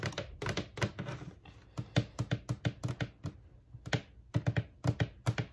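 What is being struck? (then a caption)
Plastic carrying case. A medium black hard-shell plastic carrying case with a textured surface and a red brand label, hollow and closed, is held up while being scratched and tapped with long acrylic nails. Quick, dull tapping clicks come in clustered bursts with faint scratching between them. The short, hollow thuds die away almost at once.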